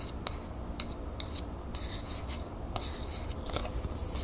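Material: Metal.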